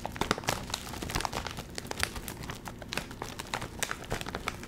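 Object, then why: Metallized plastic film chip bag. A full Doritos chip bag made of metallized plastic film is crinkled and squeezed by the fingertips, then held up and handled. A steady stream of dense, sharp crackles and crinkles is heard, bright and dry, with quick snaps spread across the whole clip.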